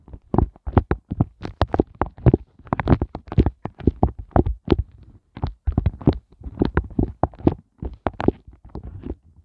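Fingertips and nails poke, tap and scratch the tops of the hollow hearts on a pink flexible silicone heart ice cube tray. A rapid, irregular series of soft, dull taps and short scratchy bursts is heard, mostly low and muffled, with each hit dying away almost instantly and brief pauses between clusters.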